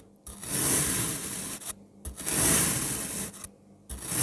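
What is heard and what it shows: A speckled pink knife cuts slices into a blue kinetic sand block and then cross-cuts them, producing a crumbly, gritty scraping with a bright hiss. Two long drawn strokes are separated by brief silences and shorter scrapes, and another stroke begins as the clip ends.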